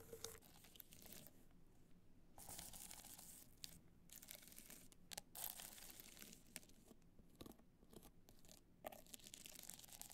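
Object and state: Rhinestone-covered hard-shell clutch being scratched.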